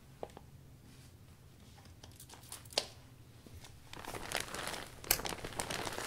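A blue cloth rubs the thin plastic of an open iridescent vinyl umbrella canopy from the inside, wiping down the new umbrella. Soft, sparse crinkles and a few sharp, bright crackles build into louder, denser crinkly rubbing in the last two seconds.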